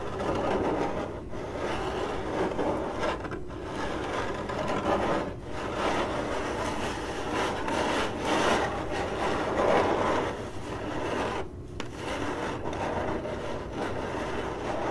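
Long acrylic nails on both hands scratch across a hollow, printed corrugated cardboard box, making a steady, dry, raspy scraping. The scratching is broken only by a few brief pauses. The sound sits mostly in the mid range, with little bright content.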